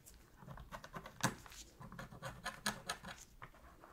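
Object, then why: Plastic game controller. A thin metal pick scratches along the seams beside the Sony logo and D-pad of a black hollow plastic PS3 controller. The result is a quiet, irregular series of short, dry scrapes and clicks with bright, hissy edges and a faint low hollow body, each dying away almost instantly.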